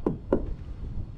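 Two knocks on a sheet-metal van body panel covered with a bitumen vibration-damping mat. Each knock is dull and low, dying away almost at once with no ring, showing the mat has clearly damped the panel.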